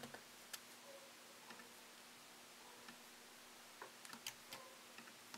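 Fingertips slowly tap the plastic keycaps of a MacBook Pro laptop keyboard set in an aluminium body. The result is quiet, sparse, bright little clicks with short, dry decays, spaced unevenly with a brief cluster near the end, over a faint steady low hum.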